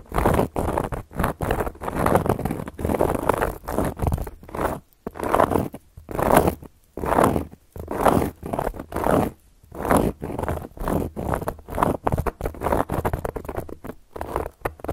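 Long gold metal claw nail caps scratch across a round, flat, solid cork board in a series of short, rough strokes separated by brief pauses. Each stroke gives a dry, raspy scrape centered in the midrange with a little low thump, stopping quickly with no ring.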